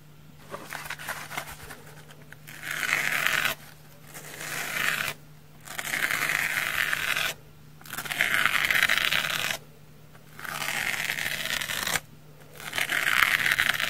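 A large, hand-sized pink porous foam bath sponge, solid and dry, is held in one hand over a wooden table and scratched across its surface with the edge of a pink knife blade. Bursts of bright, rasping scratches lasting one to two seconds each alternate with short quiet pauses. A faint steady low hum runs underneath.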